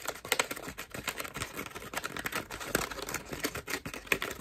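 A cream foam bath loofah is scratched with long nails and crushed between both hands. It gives a dense run of quick, dry crackling and scratchy ticks, bright and mostly high with little low end, each short click dying away almost at once.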